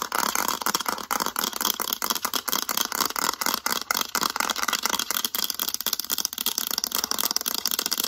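Long acrylic nails rapidly tap and scratch the back of a mint-green hard plastic graphing calculator, across its embossed lettering. The result is a dense, continuous stream of sharp, dry plastic clicks over a bright, scratchy hiss, with almost no low end and no ring after each tap.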